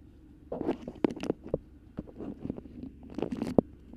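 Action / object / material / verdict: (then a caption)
scrape / beeswax-coated cotton wrap / waxed cotton / none. Long pink nails scratch, grip, crinkle and tap a yellow bird-print beeswax-coated cotton food wrap with pinked edges draped over a microphone. Close, dry, waxy crackles and sharp crinkling snaps come in irregular bursts with brief scratchy rustles between them. Each sound stops almost instantly, with no ring.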